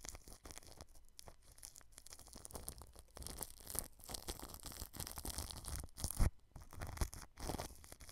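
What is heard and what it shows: A paintbrush sweeps over clear plastic cling film wrapped around a white microphone, brushing along the grille. It makes close, crinkly rustling and scratchy brushing with a bright, hissy edge over a low, thumpy rumble. Irregular strokes rise and fall, with one sharper, louder bump near the end.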